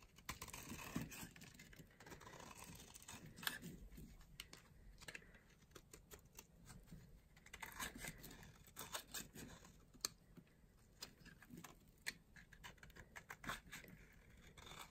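A small blade carves a solid, light green bar of dry soap held in the palm into shavings. The clip is a quiet run of crisp, dry scraping and crunching, broken by irregular sharp, bright clicks and snaps as the shavings break away.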